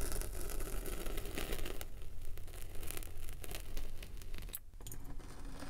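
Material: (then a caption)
Kinetic sand. A metal spiked pinwheel roller is rolled across the top of a solid rectangular slab of packed purple kinetic sand, its spikes pricking and scratching the surface and leaving dotted tracks. The sound is a steady, crunchy scratching with many rapid clicks over a low rumble, briefly quieting near the end before resuming.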